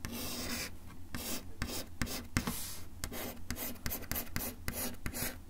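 A bamboo ear pick is drawn in scratching strokes along a flat, solid brown wood-finish desk top. Repeated bright, rasping scrapes come in short bursts with sharp little ticks between them, over a steady low hum.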